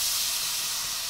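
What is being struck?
Nothing is struck.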